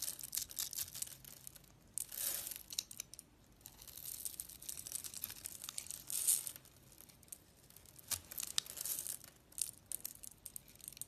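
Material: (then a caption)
Soap. A metal blade scrapes across the scored, cubed surface of a solid lilac bar of soap held in the hand, and small soap cubes crumble off. The quiet, bright, crisp scraping and crumbling comes in short bursts with brief pauses between strokes, with almost no low end.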